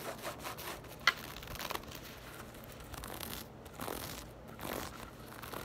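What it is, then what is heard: Knit fabric purse. Long acrylic nails scratch and tap the textured surface of a soft, hollow, hand-sized black crochet or knit textile purse. The sound is a quiet, dry, bright rasping and rubbing, with one sharper tap standing out near the start and several softer swells of scratching after it.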